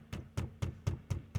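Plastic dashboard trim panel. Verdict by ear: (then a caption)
Tight. A 2019+ Acura RDX's plastic dashboard trim panels are banged six times at the seam after something is wedged into it. Each hit gives a short, dull, low thump with no rattle, which confirms the loose joint as the source.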